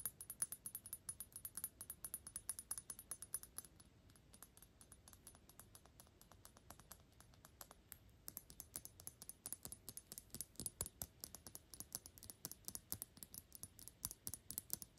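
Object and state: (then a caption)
Glass perfume bottle. A medium-size Gucci Intense Oud perfume bottle of thick dark glass, hollow with liquid inside and held in both hands, has its flat glass body fast-tapped with long pink acrylic nails. The result is rapid, bright, dry clicking with a faint high glassy tone, softening between about 4 and 8 seconds before picking back up to the end.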